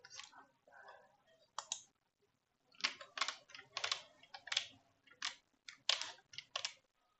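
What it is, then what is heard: Plastic computer keyboard. One hand types on a black plastic computer keyboard with low-profile keys, striking with fingertips and nails. About sixteen crisp, bright clicks and taps come in an irregular rhythm, each dying away almost at once with no low rumble. The opening second holds softer, duller taps before louder, sharper keystrokes follow in quick clusters.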